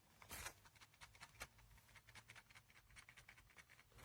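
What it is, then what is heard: Loose rattling part inside a headphone earpiece. The right earpiece of JLab Rewind 2 retro wireless headphones, a plastic earpiece with the track and voice-assistant controls, is shaken while the headband stays still. A loose piece inside makes a rapid run of light, bright, dry clicks and rattles. The part is entirely loose and rattles constantly when worn, unlike the solid left earpiece.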